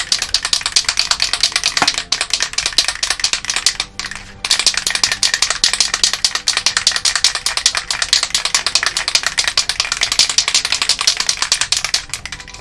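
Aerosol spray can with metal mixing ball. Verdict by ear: Loose.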